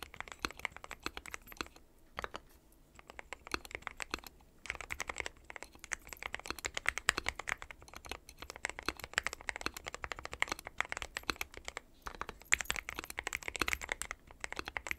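Fingertips of both hands type continuously on a dark metal-cased mechanical keyboard with white and pastel plastic keycaps. The result is a rapid, dense stream of short, bright plastic clicks and clacks centered around 2 kHz, with brief lulls near the 2–3 second and 12 second marks.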